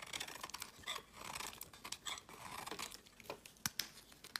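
A solid pale yellow soap bar with an orange layer, held in the hand, is scraped with a metal utility knife blade into fine, crumbly shavings. The result is a quiet run of bright, crisp, crinkly scraping strokes with little low end, ending in a few sharper clicks.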